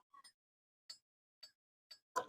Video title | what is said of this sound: Pusaka Andalan Keris Sangkelat Tudung Madiun 🔥 | sentilannya itu berat tidak terlalu nyaring tapi nyaringnya itu nyaring yang berat berisik